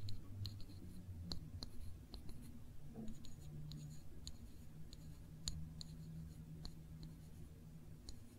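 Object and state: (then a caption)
Glass jam jar, scratched and tapped with fingernails. A small glass jar full of cranberry jam is held in one hand while long nails slowly trace and scratch over its label and glass. The result is a quiet, low, steady rustle with scattered sharp, bright ticks and clicks from the nails catching on the surface.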